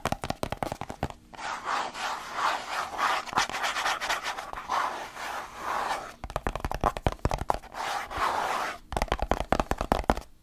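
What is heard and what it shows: Fingertips and nails rub and scratch the side of a medium-sized, hollow white plastic supplement tub with a label, held in one hand. Bursts of quick, sharp clicking scratches alternate with longer stretches of steady, hissing rubbing, centered in the midrange with a faint hollow low resonance.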